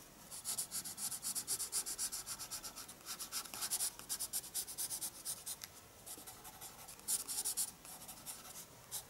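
A pencil makes dense shading strokes across the page of a small spiral paper sketchbook lying flat on a desk. The result is a quiet, rapid, uneven series of bright, hissy scratches, roughly four strokes per second, with almost no low end.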